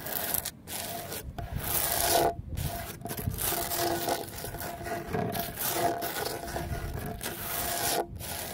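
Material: Cement.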